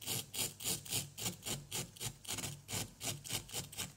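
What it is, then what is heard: Plaster block being scraped. A small, solid orange plaster block is scraped repeatedly with a wooden stick in a steady back-and-forth rhythm, giving about 16 bright, gritty rasping strokes. Each stroke has a hissy high end over a faint low rub, and plaster dust piles up.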